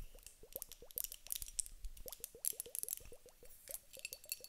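A teardrop-shaped glass vase filled with clear water beads is held in the hands, shaken and tapped with long acrylic nails. A rapid series of short, wet plops with upward-bending pitch sounds over bright, crisp clicks and rattles, each dying away almost instantly.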